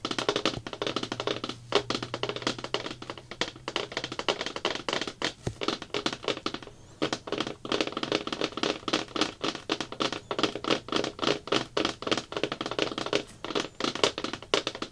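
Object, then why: Plastic bucket lid. Fingertips and nails tap rapidly with both hands on a thin, hollow-backed round blue plastic bucket lid resting on a table. The result is a dense, continuous patter of short, dry, clicky taps with a hollow mid tone around 400 Hz and bright edges. Each tap dies away almost instantly, with very little low end.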